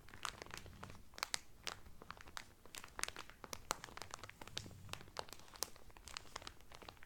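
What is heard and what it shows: Fingertips and medium painted nails press and crinkle the loose, thin clear cellophane wrap sealing a folded blue terry Carnival towel that lies flat on a table. Quiet, dense bursts of sharp, bright crackles and crunches pop irregularly throughout, each snapping off almost instantly over a soft low rumble.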